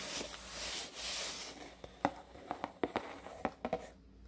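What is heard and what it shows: A medium, hollow, closed corrugated cardboard shipping box with a black top and white corrugated sides is held in one hand while the fingertips and short nails of the other hand tap and drum on its black flat top. A soft, breathy rustling fills the first second and a half. Then about ten short, dry, papery taps follow, each dying away almost instantly.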